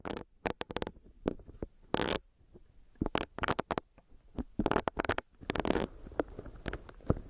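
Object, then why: Silicone facial cleansing brush. A small, solid, pink bunny-shaped silicone facial cleansing brush with a soft bristle pad is held and tapped with long nails while its bristles are rubbed against a mic grille. The result is an irregular run of close, dry tapping and scratchy, crackling rubbing bursts that stop short with almost no ring.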